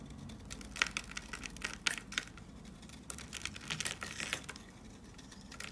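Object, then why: Soap bar. A rectangular, solid white soap bar with a Hello Kitty face, held in the hand, is scraped with a yellow box cutter blade, shaving off powdery flakes. Dense, dry, crunchy scratching fills the clip, with bright, crisp clicks and brief louder snaps over a soft low rumble.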